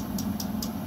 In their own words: Even tapping on the glass gives a good indication of the temperature. That sounded very dull, so I know that there's still give to the material. It's still moving around.